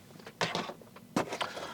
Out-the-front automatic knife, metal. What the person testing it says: lots of Rattle and tap all otfs have some Rattle and tap this one's a little bit more than I would like